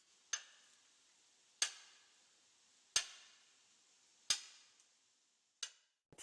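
A hammer taps the rock wall of a dark, damp cave to test whether the stone is suitable for making ink stones. Five sharp, bright clicks come at a slow, fairly even pace, each sound mostly high-pitched with a brief ringing tail that fades quickly.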